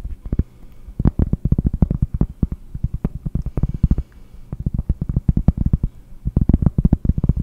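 Long painted nails tap quickly on a large, round, solid cork trivet held in front of the mic. The result is a fast run of dull, muffled taps, almost all low thud with no ring, coming in busy bursts separated by brief quieter gaps.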